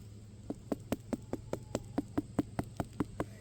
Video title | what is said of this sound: The Homestead Garden: Watermelon, its sweeter in the garden! | you hear a deep sound, a deep thump, thump, thump, thump, thump. That is a deep sound.